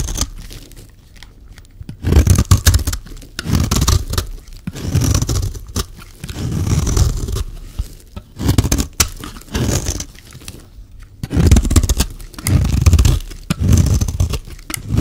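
A solid rectangular green bar of dry soap with embossed lettering is held in the hand and shaved with a metal utility-knife blade. Each pass of the blade makes a dry, crunchy scraping sound that swells and fades, with quiet pauses between the repeated strokes.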